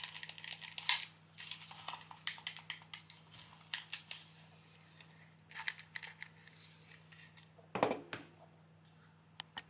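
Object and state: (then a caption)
Plastic game controller. A pink PS3 DualShock controller, a handheld hollow hard-plastic gamepad held in both hands, is worked by fingertips pressing and clicking its buttons and tapping its shell. The result is a quick run of light, bright clicks and taps over a faint low hum. Near the end, a louder knock is heard as the controller is set down on the desk.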